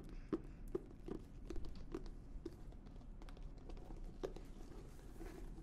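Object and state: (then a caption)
Leather-bound notebook. Long nails tap and scratch the cover and spine of an embossed leather-bound notebook with a thick paper block. Soft, dry ticks and brief scratchy strokes sit over a low, steady rumble, each tap dying away almost instantly with no ring.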